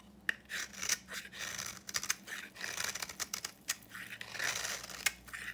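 A solid yellow bar of dry soap painted copper, held in the hand, is shaved with a utility knife into dry, crumbly flakes. The result is a quick run of bright, scratchy scrapes and crackly tearing sounds, with brief sharp clicks between longer rasping strokes.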